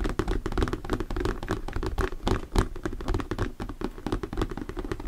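Fingertips tap and knock rapidly and unevenly on a thin, translucent plastic sheet or lid with a diamond texture, held upright. The taps are short, dull and low-pitched, with no ring, and run together in a continuous patter.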